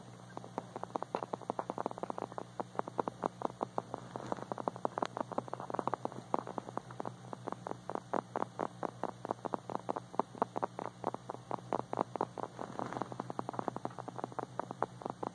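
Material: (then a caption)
Hard plastic. A small, hard, glossy plastic dog figurine with a white body and blue ears and face, likely hollow, is tapped rapidly with fingertips and short nails. It gives a dense stream of quick, dry clicks with no ring, over a faint steady low hum.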